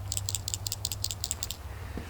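A sight-fishing jig, roughly 3/8 ounce with a white skirt, is shaken; a rattle is superglued into a pocket in its tiny soft-plastic imitation craw trailer. The shaking gives about nine quick, crisp, high-pitched clicks over a steady low hum. This clicking is meant for bass to hear when the lure is shaken on the bed.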